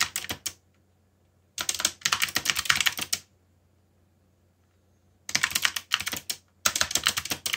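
Both hands type fast with their fingertips on a backlit mechanical keyboard with black plastic keycaps. Rapid, bright plastic clacks come in four bursts separated by silent pauses, with very little low end.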